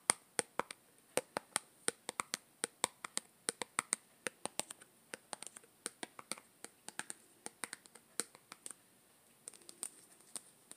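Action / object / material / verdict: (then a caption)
tap / small plastic tub with lid / plastic / none. Long green-painted nails tap on the side of a small, hollow yellow plastic Play-Doh tub with its lid on, held close to the mic. About 47 sharp, dry clicks come in a quick, uneven rhythm, each with a bright, hollow plastic tick that stops almost instantly, with a faint soft scratch near the end.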